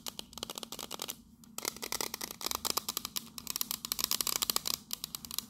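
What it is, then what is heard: Metal biscuit tin. Long nails tap rapidly on the teal lid and then the side of a tall pink printed metal biscuit tin. The result is a quick stream of short, bright, clicky taps with almost no ring or low end, broken by a brief pause early on.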